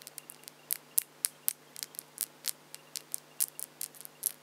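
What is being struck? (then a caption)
Plastic false nail tips. Long acrylic false nail tips are tapped together and scratched against each other between the fingers of both hands. About 19 quiet, crisp, bright clicks and ticks come in an irregular pattern, each ending almost instantly, over a faint steady low hum.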